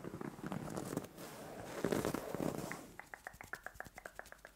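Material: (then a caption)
Fabric. Long nails and fingertips scratch and rub a soft white fabric bed cover, starting with a dense, hissy rustle of rubbing for about three seconds. It then breaks into a quick run of short, crisp scratches, each with a brief bright tick over the soft fabric swish.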